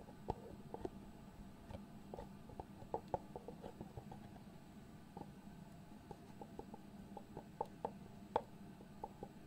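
Fingertips and nails tap and rub the lift-off lid of a small, hollow white cardboard product box. The result is a quiet, uneven run of short, dry, hollow taps with a few sharper, brighter clicks. Soft scratchy rubbing and a steady low hum sit underneath.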